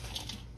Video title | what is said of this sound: Another Popular Super Bowl Chicken Dish /OLD SCHOOL CRISPY SWEET AND SOUR CHICKEN WINGS | you hear how crispy these are